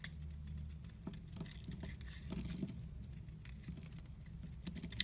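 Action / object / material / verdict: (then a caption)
scrape / bar of soap carved with a metal blade / soap / none. A metal blade shaves and carves flakes off the edge of a solid white embossed soap bar held in the hand. Soft, dry scraping and cutting strokes come through as quiet, crisp ticks over a low background rumble.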